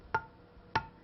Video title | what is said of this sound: How To Make Jam and Jelly At Home | Hear that dull sound? That tells me this jar hasn't sealed.